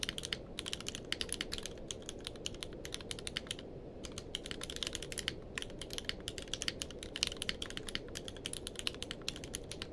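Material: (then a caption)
Plastic. Both hands type with their fingertips on a grey-blue tenkeyless mechanical keyboard with plastic keycaps. The result is a steady, rapid stream of short, bright clacking keystrokes over a soft low hum, with a brief lull just before the four-second mark.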